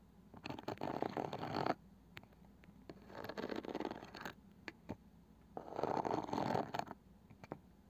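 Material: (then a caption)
Wood, cane. Long fingernails tap and scratch the lid rim and woven cane side of a palm-sized round wooden box with a flat light wooden lid, probably hollow. Three bursts of dense, raspy scratching are separated by sparse, sharp taps with almost no ring. The scratching has a mid-range hiss that thins toward the highs.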